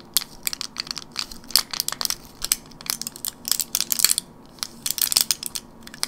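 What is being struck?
Plastic blister pack with foil backing.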